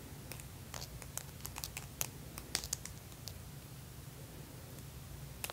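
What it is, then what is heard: Long acrylic nails with plastic decorations clacking. Extra-long pink acrylic press-on nails covered in plastic fake teeth, held up on both hands, tap and clack against each other. The result is rapid, bright, dry clicks that stop almost instantly, scattered irregularly over a steady low background hum.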